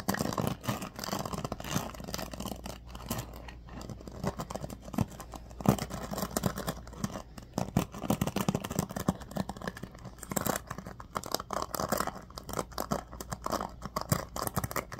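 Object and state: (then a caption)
Bamboo paddle hairbrush. A bamboo paddle hairbrush is held in both hands while fingers scratch and rub the pin bristles on its black pad. The result is a steady stream of dense, crackly scratching and rapid small ticks with brief louder swipes, over a low, constant hum.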